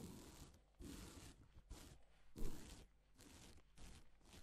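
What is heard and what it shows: A gloved hand sweeps across a flat, reversible pink and silver plastic sequin fabric sheet, flipping the sequins. This produces soft, quiet rustling and scraping bursts with a low, dull body, separated by brief pauses.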